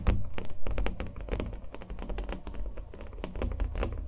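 Fingernails tap and thunk on a small, taut stretched canvas covered in thick acrylic paint, held in the hand. The rapid, irregular taps are short and dry, each with a brief bright click over a deep, hollow, drum-like low thump that dies away almost at once.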